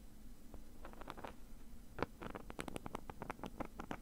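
A small, hollow black padded zip bag with a nylon mesh fabric surface is held still in one hand while the fingernails of the other hand scratch across the mesh. Quiet, dry, rasping scratches come in short bursts, sparse at first and then quicker and denser in the second half, with brief bright edges and no ring after each stroke.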